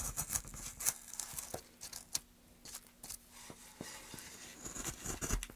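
A small gouge carves a hollow near the end of a solid, light pine softwood plank held in gloved hands. A series of short, crisp, bright scraping cuts and shaving sounds comes through, with brief quieter gaps between strokes.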